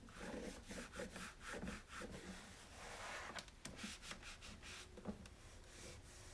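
A hand rubs a cloth over the front and side of a white, hollow plastic coffee maker body while the other hand steadies its base. The result is a steady run of soft, brushing swishes with a faint hollow low resonance from the plastic shell, plus a few sharper, brighter scuffs along the way.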